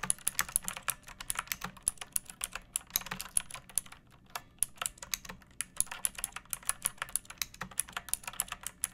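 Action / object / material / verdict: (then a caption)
tap / plastic mechanical keyboard / plastic / none. A pink plastic mechanical keyboard with round backlit keycaps and a hollow body sits on a wooden surface and is typed on with long painted nails and fingertips. About 56 quick, bright, clacky keystrokes come in a steady patter with a brief pause around four seconds. Each click dies away almost instantly.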